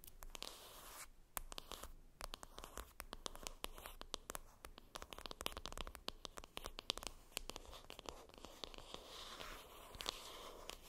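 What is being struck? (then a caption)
Small cardboard makeup box. Long red acrylic nails tap and scratch across the top of a small, hollow, flat printed cardboard box for a Benefit "Cheery Cheeks" blush palette, which lies on a fluffy makeup bag. The result is a quiet, steady stream of rapid, crisp, bright clicks with dry scratchy rustling between them. Each tap dies away almost instantly.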